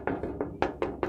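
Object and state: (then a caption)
Thin metal case side panel, metallic ring. Six knocks on a regular, relatively thin metal PC case side panel give short metallic rings with a mid-pitched tone around 360 Hz that fade quickly. The thin panel blocks some noise, but not as much as a panel with fabric damping.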